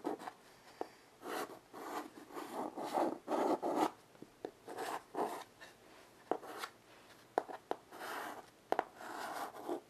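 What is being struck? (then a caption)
Chalk on a wood-framed chalkboard. White chalk held in the fingers makes quick scratching strokes across a small wood-framed blackboard resting on carpet. Short, irregular bursts of dry, raspy midrange scraping alternate with sharp little taps as the chalk meets the surface, with brief quiet gaps between strokes.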